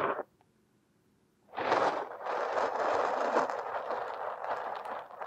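A thin metal hook digs and scrapes into purple kinetic sand packed over a small silicone nose shape, breaking off crumbly chunks. A short scrape is followed by a quiet pause, then a steady run of soft, grainy crunching and scraping in the midrange continues to the end.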